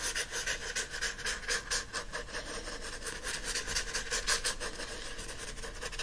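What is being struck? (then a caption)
Paperback book with glossy card cover. Fingertips and nails scratch the glossy front cover of a teal *Mistress Masham's Repose* paperback held flat. The result is a steady run of rhythmic, hissy scratching strokes, bright and airy, with a band near 1.6 kHz. The strokes swell and fade continuously without a break.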